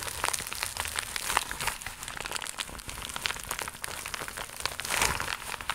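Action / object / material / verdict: tap / empty embossed vinyl pouch / vinyl / none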